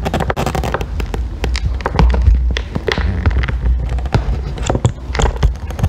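A small remaining piece of solid green bar soap is scraped with a metal loop tool and picked at with fingernails. It makes a rapid string of sharp, dry clicks and scratchy crackles over a steady low rumble.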